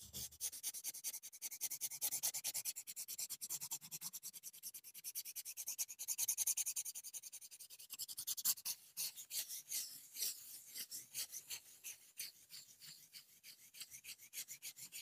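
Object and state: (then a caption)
Metal mesh microphone grille scraped with wooden sticks. Two wooden chopsticks, one in each hand, are rubbed and scraped across the hollow metal wire-mesh grille head of a large silver condenser microphone. The result is a quiet, rasping scratch made of rapid, uneven strokes, about three per second. The sound is almost entirely bright and high, with no low end.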